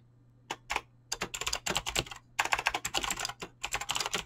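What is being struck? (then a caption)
Mechanical keyboard with clicky switches and PBT plastic keycaps. Fingertips type quickly on a mechanical keyboard with clicky green switches and PBT plastic keycaps. Bright, sharp clicks come in uneven bursts with brief pauses, over a faint low hum.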